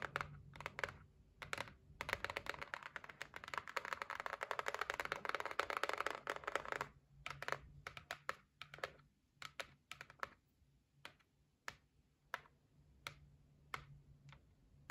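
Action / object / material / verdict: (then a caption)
tap / cardboard gift box / cardboard / none. Long nails and fingertips tap rapidly on the lid of a closed white cardboard gift box. For about the first seven seconds they make a dense, fast flurry of crisp, bright clicks centered around 1.3 kHz. Then the tapping thins out into separate, evenly spaced single taps over a faint low hum.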